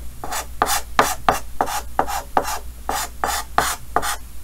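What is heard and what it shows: A yellow chalk stick held in the fingers rubs and scratches quick strokes across a large, flat, dark chalkboard with a green wooden frame. About twelve short, raspy scrapes repeat at a brisk, uneven pace, each with a bright, gritty hiss and a brief mid-pitched squeak that fades almost at once.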